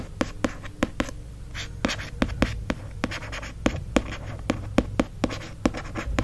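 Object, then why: Cloth-bound hardcover book cover. Fingertips and short nails tap, trace and scratch the embossed gold lettering on the cover of a mint green, cloth-bound hardcover book held in one hand. A quick series of sharp, dry clicks is heard over soft, bright scratching and brushing, with a steady low rumble underneath.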